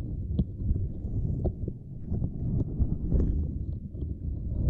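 Both hands scratch and tap a small, flat purple silicone lattice mat with long nails. The result is a steady stream of soft, muffled low thumps and dull scraping. Brief brighter ticks sometimes cut through, and each sound dies away almost instantly.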